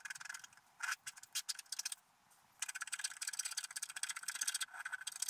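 A wooden stylus scratches the black coating off a flat wax-coated scratch art sheet on a table, working around a unicorn and flowers while the other hand steadies the sheet. Quick, dry, bright scratching strokes come in bursts, with a brief near-silent pause midway before a denser run of scraping resumes.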